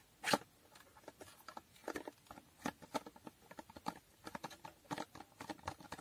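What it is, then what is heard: Small cardboard box. Long nails tap a small, hollow cardboard condom box with a holographic foil finish on its front, side and top. A quiet, rapid, irregular run of short, dry clicking taps follows a single louder tap at the start. Each tap is crisp and mid-toned with some bright edge, and dies out at once without ringing.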